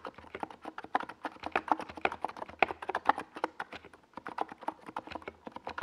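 Both hands type with their fingertips on a NiZ Plum Atom 68, a compact 68-key mechanical keyboard with a hollow white plastic case and purple and yellow plastic Domikey Gas Attack SA keycaps, resting on a desk pad. A steady, quick stream of short, dry, clacky keystrokes centers around the midrange with a bright top. The keystrokes pause briefly near the four-second mark before continuing.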